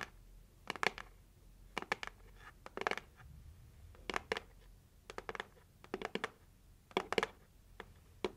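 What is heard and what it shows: Long acrylic nails tap and scratch the lid of a red printed cardboard heart-shaped gift box held at chest height. Short, dry clusters of bright clicking taps come in bursts, with soft scratchy rustles between them and almost no ring after each hit.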